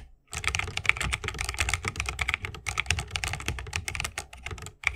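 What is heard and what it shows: Continuous fingertip typing with both hands on a 60% mechanical keyboard with Holy Panda switches, a bamboo case and plastic keycaps. It produces a rapid, steady stream of crisp, bright clacks over a soft low thump, each keystroke dying away almost instantly. A brief silence opens the clip and a short pause comes just before the end.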